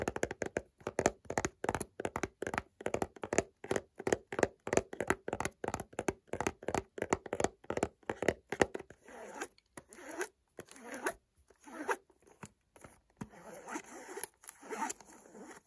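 Short fingernails tap and scratch along the face and edges of a small white cardboard perfume box in a plastic wrap, held in the hand. A quick, steady run of dry, hollow taps with a low-mid body gives way after about nine seconds to sparser, brighter scratching strokes with crinkly rasps. Each sound stops almost at once, with no ring.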